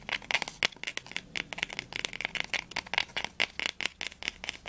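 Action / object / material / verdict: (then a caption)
tap / cloth-bound book spine / linen cloth / none. Fingernails tap and scratch quickly along the textured linen spine of a small, solid, blue cloth-bound poetry volume with gold embossing, first held upright and then sideways. Some 27 dry, bright, papery clicks and rasps follow one another with almost no ring and very little low end.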